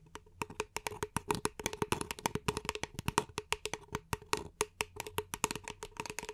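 Long nails tap rapidly on the side of an empty, hollow beige paper cup held in both hands. The result is a quick, uneven stream of dry, hollow clicks with a resonant tone around 420 Hz and bright, crisp edges. Each tap dies away almost at once.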